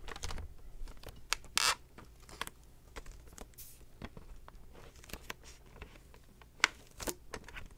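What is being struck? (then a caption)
Plastic VHS clamshell case with clear sleeve. A Little Mermaid VHS plastic clamshell case is held in both hands while the clear plastic sleeve on its back cover is tapped and crinkled with fingertips and nails. Sharp, bright clicks and brief crinkling bursts stand out at irregular intervals over a quiet, low background hum.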